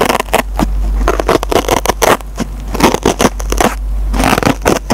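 A metal-tipped pencil repeatedly scratches the green nylon scouring pad on a dry foam sponge. It makes rapid, uneven bursts of rough, crackly scraping across a broad range over a steady low hum, with short quiet gaps between strokes.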